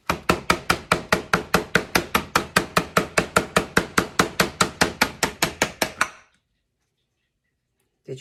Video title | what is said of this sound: 3 Mold Demo's and a Formal Introduction of Who I Am | you hear that how it just released like that